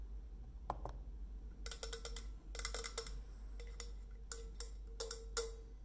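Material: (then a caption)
Stainless steel. Long nails tap along the body of a hollow, painted stainless steel insulated bottle as it is tilted in the hands. The result is a series of quick, bright clicking taps, each with a short metallic ring near 460 Hz, over a low steady hum.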